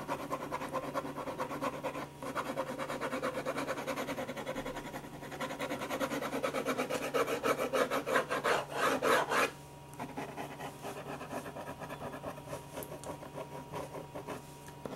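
A black pen tip is rubbed and scratched in shading strokes across a single thin, flat white paper sheet resting on a desk. It makes a rapid, rough rasping scratch at about three strokes per second, centered in the midrange. The strokes grow louder and denser toward the middle, then drop abruptly to a quieter, lighter scratching.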